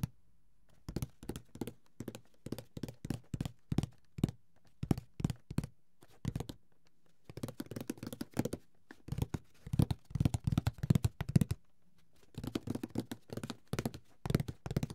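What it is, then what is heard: Cardboard board game box. Fingertips tap the lid of a closed, hollow, grey paper-covered cardboard Monopoly box held in the hands. Rapid bursts of soft, dull, low taps with almost no ring, separated by brief pauses.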